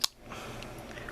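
The blade of a Sheffield 12711 Gunnison liner-lock folding knife, with a satin-finish 440A steel blade, dual thumb studs, an aluminum handle and a full steel liner, is flicked open. A sharp, bright click sounds at lockup and dies almost instantly, followed by a faint, low rustle. The lockup sounds somewhat hollow, though not as hollow as a Gerber Air Ranger.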